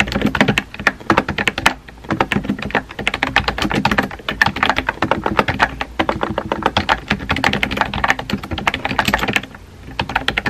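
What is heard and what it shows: Fingertips with painted nails type rapidly on a compact pink plastic mechanical keyboard with a hollow body and round white-and-pink typewriter-style keycaps, resting on a desk. Quick runs of short, dry, clacky key taps with a bright click and a hollow plastic thock beneath are broken by a few brief pauses.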